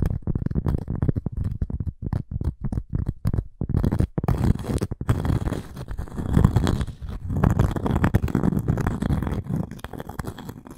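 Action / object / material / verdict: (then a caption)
scrape / cork coaster with a wooden edge / cork / none. A small, round, solid cork coaster with a wood edge is held in both hands while long nails scratch and tap the cork. For the first few seconds, quick, choppy, muffled taps come in bursts with brief gaps. Then a denser, continuous low scratching and rubbing takes over, dull and deep with almost no bright edge.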